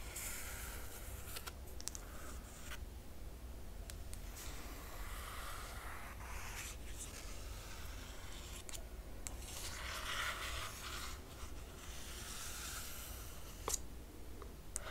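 Long acrylic nails scratch and trace across the glossy printed paper dust jacket of a large square hardcover art book lying flat on a table. Soft, continuous bright scraping and swishing strokes rise and fall over a steady low hum, with a couple of sharper taps near the end.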